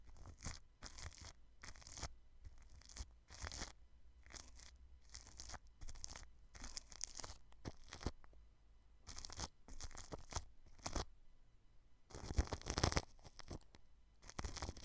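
A paintbrush brushes the grille of a white microphone wrapped in clear plastic cling film. It makes a series of short, bright, crinkly strokes that sound like tearing, separated by brief pauses, over a faint low hum. Near the end, the brushing grows denser and louder.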